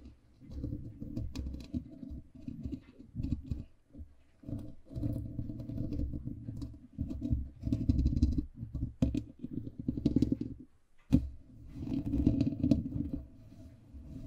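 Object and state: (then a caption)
Foam microphone windscreen being scratched. Fingertips and nails of both hands scratch and rub a black foam windscreen on a microphone. It makes dense, muffled, low-heavy scraping and rustling in uneven bursts, broken by short pauses and a few sharp clicks.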